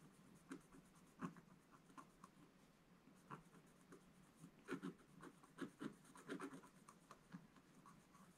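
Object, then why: Scratch-art paper page with wooden stylus. A wooden scratch stylus held in the fingers scratches fine lines into the black coating of a solid scratch-art page in a book lying flat on a table. Quiet, dry, short scratching strokes come in irregular bursts over a faint hiss, each fading almost at once.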